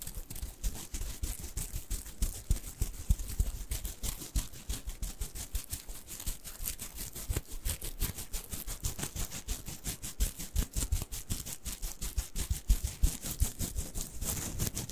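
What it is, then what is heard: Plush fabric carrot toy. Fingernails scratch the fabric surface of a small, soft, stuffed orange plush carrot cat toy with green felt leaves, held in the hands. It makes a steady stream of rapid, uneven scratchy strokes with a bright hiss and a soft low rumble, continuing for the whole clip.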